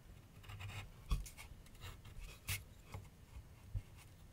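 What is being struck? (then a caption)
Pencil on canvas board on a wooden easel. A pencil tip scratches and shades lines across a medium white canvas/paper board resting on a wooden easel. Quiet, dry strokes come in short bright rasping bursts over a low, soft rumble, with a few sharper, louder accents where the pencil presses harder.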